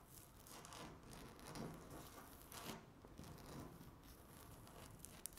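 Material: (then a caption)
Laminate. Long natural nail tips rapidly tap and scratch across a flat, solid speckled laminate tabletop. The result is a soft, continuous, dry rasping with bright, hissy scratch texture, light taps mixed in, and a sharp little click near the end.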